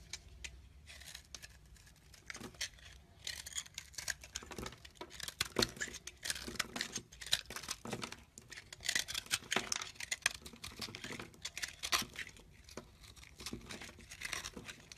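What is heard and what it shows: A solid chunk of yellow bar soap is held in the hand and carved and crumbled with a teal-handled knife. Dense, bright scraping and crisp crumbling ticks come in quick irregular bursts, with little low-end weight. The flakes break away in short, dry crackles throughout.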